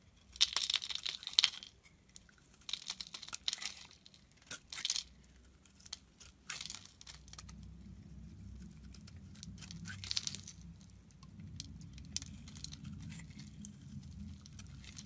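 A solid rectangular blue Cuticura soap bar with its brand name embossed, held in hand, has its surface shaved and scraped with a metal utility knife blade. Bright, crisp scraping bursts come in short clusters over the first seven seconds, with one more around ten seconds. Between them a low, steady hum fills the quiet stretches.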